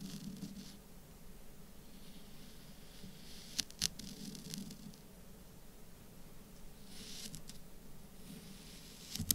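A blade from a folding knife or multitool slices and scrapes through a small solid mound of orange kinetic sand on a black surface, while fingertips steady and press the mound and loose crumbs fall around it. The clip is quiet and soft: a low grainy rustle runs throughout, with brief bright scratchy clicks near the four-second mark and again at the very end as the sand is cut and crumbles.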